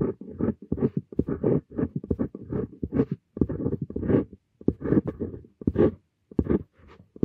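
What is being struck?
Steel dip pen nib on paper sheet.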